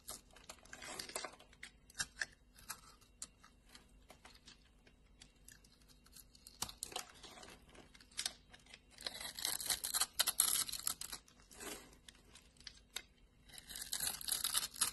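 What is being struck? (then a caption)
Bar of soap. A solid pink-and-white striped bar of soap, held in a palm, is scraped with a metal blade so that shavings fall off. Rapid, irregular dry scratching and crunching rises into brighter, denser bursts of scraping toward the middle and end, with quiet gaps between strokes.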